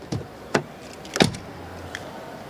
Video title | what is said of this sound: BMW X1 Review | door closing sound. That sounds solid